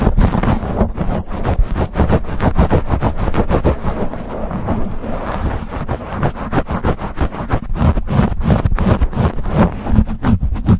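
Fingertips and nails scratch and grip a black foam windscreen on a silver condenser microphone in fast, aggressive strokes. The result is a dense, continuous run of muffled, boomy rubbing and scraping thuds, heavy in low rumble, with a brushy crackle on top and no breaks.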